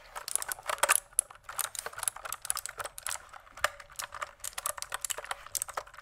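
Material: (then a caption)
Plastic. Fingertips type rapidly on a pink plastic mechanical keyboard with plastic keycaps, producing a fast run of about thirty short, crisp keystroke clicks. The clatter is bright and dry, with almost no low end, and each click dies away instantly.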